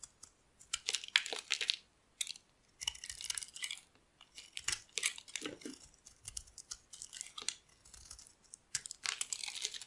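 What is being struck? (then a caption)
Bar of soap shaved with a metal blade. A solid beige rectangular bar of dry soap, held in one hand, is shaved with a metal utility blade so thin curls peel off its surface. The carving produces quiet, dry, crisp scraping and crackling strokes in irregular bursts, bright and high with almost no low end. Each stroke cuts off sharply with no ring, separated by short silences.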